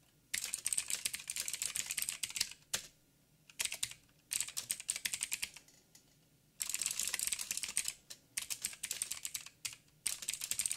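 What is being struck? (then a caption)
Mechanical keyboard with plastic keycaps. Fingertips of both hands type rapidly on a backlit mechanical keyboard with black plastic keycaps on a silver frame with a hollow housing. Bursts of bright, dense clicking keystrokes come in several runs separated by short pauses.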